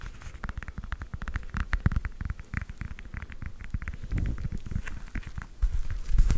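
A whole fresh orange, solid and held in both hands, is scratched and tapped on its peel with long nails. Rapid, dense patter of short, dull taps and soft scratches, mostly low and thumpy with brief bright clicks. Each tap dies away almost at once, and the taps grow a little louder toward the end.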